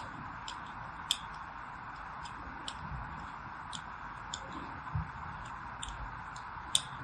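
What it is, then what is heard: Bar soap. A metal needle scratches lines into the surface of a solid lilac bar of soap with an embossed logo, held in the hand. About eight short, bright, crisp ticks and scrapes come through at uneven intervals over a steady soft hiss, each dying away almost at once.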